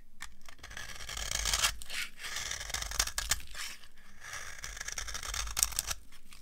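A dry beige soap bar is scraped with a metal knife, and the flakes fall onto a pile below. The scraping makes a steady, dry rasping with a bright, crunchy top and short sharp clicks as the blade catches.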